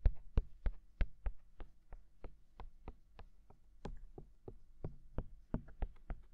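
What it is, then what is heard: Silicone microphone ears tapped with fingertips. Fingertips tap both white silicone ears of a binaural microphone, making 22 short, dull thumps at an uneven pace of about three per second. Each tap is deep and soft with a faint bright click on top, and dies away almost at once.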